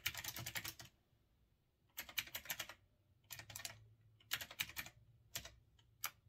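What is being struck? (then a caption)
Retro typewriter-style mechanical keyboard with round keycaps. Fingertips type steadily on a retro typewriter-style mechanical keyboard with round chrome-rimmed keycaps. Quick runs of bright, crisp clacks come in several short bursts separated by brief quiet pauses. Each keystroke is sharp and dies away almost instantly.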